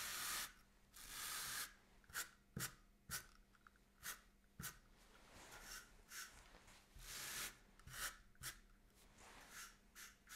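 A small bristle brush is stroked repeatedly across black-and-white grid woven cotton fabric lying flat on a table, while the other hand holds the cloth steady. Long, airy brushing swishes mix with short, crisp scratchy strokes. The sound is bright and hissy, with little low end.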